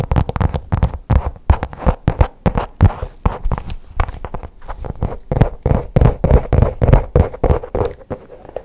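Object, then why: Faux leather pouch. Long pink acrylic nails tap and scratch the surface of a black faux leather, folder-like pouch held upright. The result is a quick, uneven run of soft, dull, low-heavy taps, mixed with brief rustling scratches that die away almost instantly.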